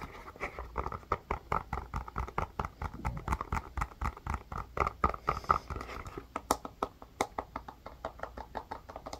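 A hand-sized blue plastic ice pack or tray with rounded bubble sections and a white plastic rim, which may be hollow or filled, is held in both hands and tapped and scratched with long fingernails. About 44 quick, irregular, sharp plastic clicks and ticks are heard, each dying away almost at once, with a hollow midrange ring around 1.3 kHz and a soft low thud under the taps. Brief scratchy passages sit between the taps at a quiet overall level.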